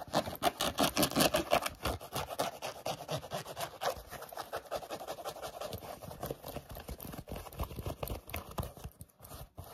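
A hollow, empty pink knit-mesh sneaker with laces, held close, is scratched and rubbed fast with short natural nails and fingertips. The result is a dense, rapid, uneven stream of dry scratching and brushing strokes, centered in the midrange with a bright fabric hiss. The strokes are louder in the first seconds and grow a little softer toward the end.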